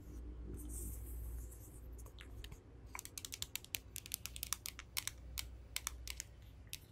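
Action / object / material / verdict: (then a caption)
tap / decorated plastic phone case / plastic / none. Long acrylic nails scratch and then tap across the bumpy back of a handheld smartphone in a hollow, rigid pink plastic or resin case covered with raised bubble-like 3D decorations, rhinestones and a panda charm. A soft, hissy scraping fills the first two seconds, followed by a quick run of sharp, bright clicks that stop instantly, over a low steady hum.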